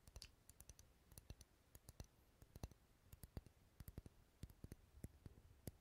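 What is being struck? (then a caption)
Wax pillar candle. Fingernails tap rapidly on the side of a large, dark red, solid wax pillar candle held close to the mic. About thirty short, dry clicks sound in an uneven patter, each a soft low thud with a bright tick that dies away almost instantly. The tapping stays quiet throughout.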